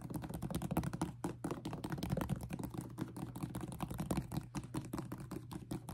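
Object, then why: Leather sneaker with rubber sole. Long painted nails rapidly tap and scratch a white and yellow high-top Jordan 1 sneaker with a leather upper and rubber sole, held in hand. The result is a dense stream of short, dull, clicky taps with quick decays and soft scratchy textures, heavy in the low end over a steady low hum.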